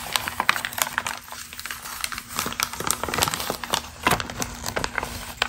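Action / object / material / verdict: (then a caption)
scrape / glossy magazine paper page / paper / none. A single thin, pre-crumpled glossy magazine page with a text article is held flat, then lifted in both hands while long green acrylic nails scratch and crinkle it and the hands rub and flex the sheet. The result is a dense run of crisp, bright crackles and crinkles with short sharp snaps, over a faint steady low hum.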